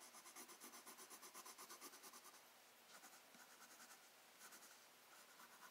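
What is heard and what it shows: A black wooden colored pencil tip scratches across a thin, flat sheet of spiral-bound sketchbook paper in steady shading strokes. Quiet, bright, papery scratching pulses back and forth at a quick rhythm, then briefly softens before the strokes resume in short bursts.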